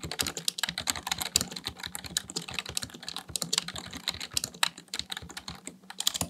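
Fingertips type rapidly on a black plastic full-size computer keyboard resting on a desk. A dense, steady stream of bright, sharp key clicks and clacks follows, each dying away almost instantly, with little low-end weight.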